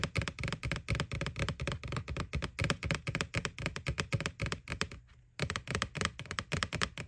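Fingernails tap rapidly and irregularly on the front wall of a white, hollow plastic McDonald's Boo Bucket with a ghost face. The taps are short, dry clicks with a hollow low body and bright edges, each dying away almost instantly. They run in quick bursts, break off for a brief pause near the five-second mark, then resume.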